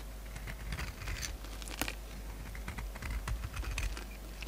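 A palm-sized, solid oval bar of soap with a glittery magenta coating over a white core is held in one hand and shaved with a metal utility-knife blade with a pink handle, peeling off the coated layer as flakes fall onto a wooden surface. A quick run of dry, crisp scraping and crackling ticks sounds over a steady low rumble, each cut short with no ring.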